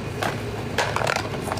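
A child shakes an empty box, which has nothing inside, producing several short rattling knocks in quick succession over a steady low background hum.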